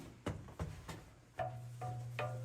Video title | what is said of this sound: Crazy Cave Discovery at Colossal Cave, Arizona | It's made of completely pure calcite crystal giving it this innate ability to reverberate sound.